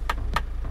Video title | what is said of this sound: SUV Diesel 7 Seater LEBIH MURAH & BERGENGSI Dari Palisade! Land Rover Discovery Sport Jago Offroad! | ini beneran asli aluminium kalau kita ketok ini